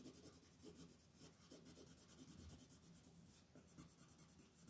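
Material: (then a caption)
Paper. A wooden colored pencil is rubbed repeatedly across a flat white paper coloring sheet lying on a table, making soft, steady coloring strokes. The quiet, continuous scratching rub has a bright, papery texture over a low, muffled body, with rhythmic pulses as the strokes go back and forth.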